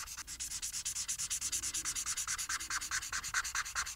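A felt-tip marker colors a flat paper coloring sheet resting on a table, rubbing back and forth in rapid strokes. About 37 quick, evenly paced scratchy swipes are heard, each a bright, high rasp of felt tip on paper with almost no low end.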